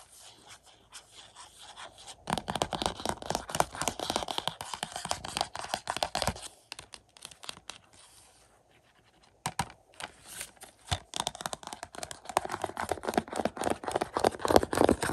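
Fingertips and short nails tap and scratch the front and back of a Mission: Impossible 4K UHD movie case in a printed hollow cardboard slipcover, lying flat on carpet. Faint scratching gives way to dense, rapid, dry scratches and crisp taps. The sound briefly falls almost silent before the scratching and tapping pick up again, louder toward the end.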